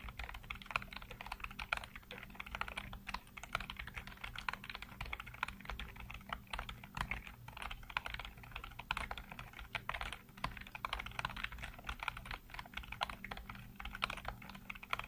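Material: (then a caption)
Plastic. Fingertips rapidly tap and type on a full-size black plastic computer keyboard with hollow keycaps. Quick, dense plastic clicks and clatter run continuously, centered in the mids with a bright edge. A steady low hum sits underneath.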